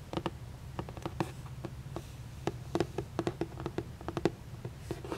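Long painted nails tap and scratch the printed surface of a hollow, red printed cardboard moon cake gift box held up close. About nineteen short, dry, hollow taps land in an uneven rhythm, each dying away almost instantly, with soft scratching in between.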